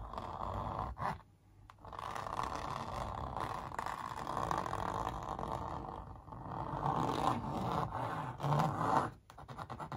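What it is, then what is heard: Stretched canvas print, scratched. Long nails and fingertips scratch-trace the outlines on a large printed canvas stretched over a hollow-backed wooden frame. The result is a steady, dry scratching and scraping with a hollow midrange tone. It pauses briefly near the start and again just before the end.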